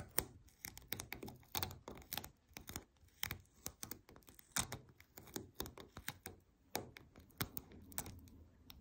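Long nails tap and scratch the paper sheets of a white paper lint roller lying on its side, its sheet-covered cylinder giving off quick, dry, typing-like clicks. The short taps come in a rapid, uneven series, mixed with soft papery scratching between them.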